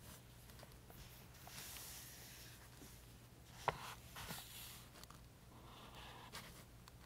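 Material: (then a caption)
Paper. A green chisel-tip highlighter makes slow, long strokes across the rows of thin printed table pages in an open softcover paperback book held flat by hand. The result is a quiet, steady papery rubbing with bright swishes as the tip drags across the paper, and one short, sharp tick in the middle.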